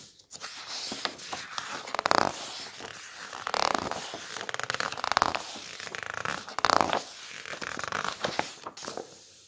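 Fingertips slide over the coated glossy pages of a large open hardcover coffee-table book as they turn, and a flat palm rubs across the printed photo spreads. Soft papery swishes swell into louder brushing sweeps every second or two, dotted with crisp, bright crackles and ticks from the glossy paper.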